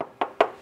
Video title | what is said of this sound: Best Bang for the Buck? // 2021 Toyota 4Runner Trail Edition Review | the muffler is so quiet even when you knock on it